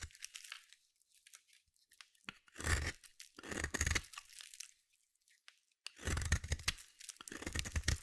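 A hand-held solid blue bar of soap is scraped and carved with a metal utility blade, shavings falling away. Dry, crunchy, tearing scrapes come in bursts with a bright hiss and a low rumble underneath, the longest and loudest near the end, with soft clicks and quiet scratches between strokes.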